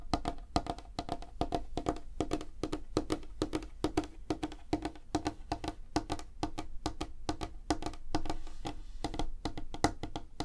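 Fingertips and nails tap rapidly on a solid, light wooden tabletop, making a steady stream of quick, dry knocks. Each tap is short and woody with a hollow tone around 300 Hz and almost no ring.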